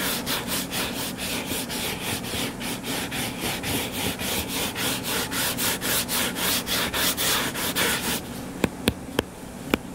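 Fingertips and nails scratch the cover of a closed, solid hardcover book lying flat on a table, making a steady, rhythmic run of dry, hissy back-and-forth strokes for about eight seconds. The scratching then stops and four short, sharp taps follow on the book.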